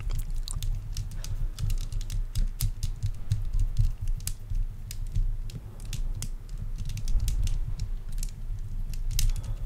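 Both hands twist and bend a small, colourful plastic tangle fidget toy made of hollow, light, linked curved segments, held close in front of the microphone. Rapid, irregular sharp clicks with a bright edge sound over a steady low rumble.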